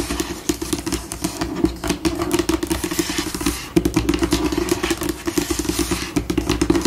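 Long pink acrylic nails scratch and tap a flat, solid white glossy tabletop, likely laminate, using both hands. Dense, rapid clicking taps mix with dry, scurrying scratches that speed up and slow down, over a steady mid-pitched hum near 330 Hz. Each tap is short and crisp with almost no ring.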